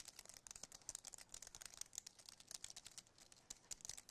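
Fingertips and nails tap the keys of a compact white aluminum and plastic wireless keyboard, first up close and then held up tilted. The result is a quiet, rapid, irregular run of short, dry, bright clicks with almost no low end and no ring after each tap.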